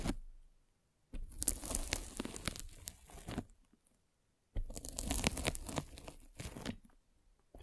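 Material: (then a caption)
Polyethylene foam. A metal-spiked derma roller is rolled over a white polyethylene foam mesh net stretched over a microphone. It makes two long passes of dense, crackly crunching and tearing sounds with bright, high crackle, separated by a brief pause.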